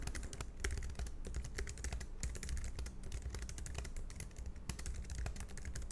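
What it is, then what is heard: Plastic low-profile keyboard being typed on. Fingertips type continuously and quickly on a compact black plastic low-profile scissor-switch keyboard, a Logitech MX Keys Mini. A dense run of short, crisp clicking key taps with bright high edges is heard over a steady low hum.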